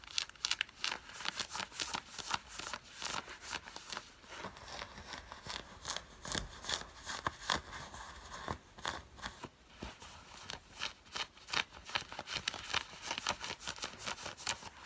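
Long fingernails scratch worn grey cotton fleece sweatpants with a green side stripe, producing quick, irregular, bright rasping strokes at roughly two or three per second. The dry, papery fabric scrapes have almost no low end and no ring, with a soft crackle between strokes.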